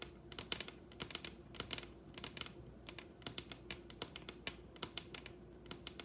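Long red acrylic nails tap the surface of a large solid wooden dining tabletop in quick rolling patterns. The result is quiet, bright, crisp clicks in bursts of rapid taps that die away almost instantly, over a faint steady hum.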